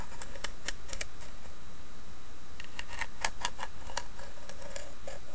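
Long nails tap and scratch the carved lid of a small, hollow, rectangular carved wooden box with inlaid leaves. Quick, sharp clicks and ticks come in irregular bursts, some clustered closely together, over a steady low background rumble.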